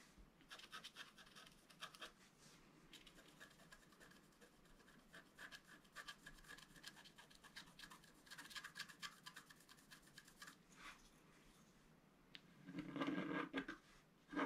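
A wooden stylus scratches fine lines into the black coating of a flat scratch-art card, about A4 size, resting on a table. Quiet bursts of dry, bright scratching strokes come and go in an uneven rhythm. Near the end, a louder, rougher scrape with more low-mid body stands out.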